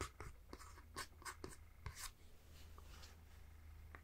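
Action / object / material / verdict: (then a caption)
tap / plastic handheld game console / plastic / none. A fingertip taps and scratches the rear plastic shell of a Nintendo Switch handheld game console, held in one hand with its Joy-Cons attached. Quiet, close, dry taps with very short decay alternate with soft scratching over a steady low hum.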